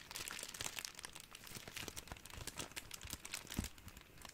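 A ball of clear, thin, crumpled plastic cling wrap is squeezed and crinkled with both hands. A steady stream of dense, bright crackles and sharp little snaps overlaps throughout, each dying away almost instantly, with a slightly louder crunch near the end.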